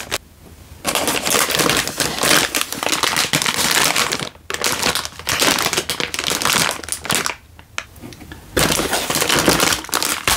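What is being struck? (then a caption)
Sealed plastic-film instant noodle packet. A sealed, hand-sized plastic-film instant noodle packet, full with a dry noodle brick inside, is held in one hand and crinkled and squeezed with the thumb and fingertips. Dense, bright crackling crinkles come in long bursts, broken by brief quiet pauses near the start, middle and toward the end.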